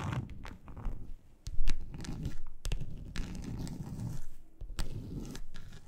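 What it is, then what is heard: Textured plastic board being scratched. Long acrylic nails on both hands scratch and scrape across the surface of a large, flat, grey textured plastic board, a solid thin sheet. The result is a continuous rough, crunchy scraping texture, heavy in the low end, punctuated by short bright ticks and rasps as the nails catch and drag, with brief dips between strokes.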